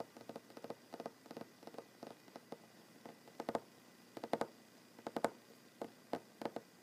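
Fingernails of one hand tap quickly on a large solid wooden tabletop, producing about two dozen short, dry clicks in small irregular bursts. The taps are quiet and midrange-centered, with a bright tick on the louder ones and almost no ring, over a faint steady hiss.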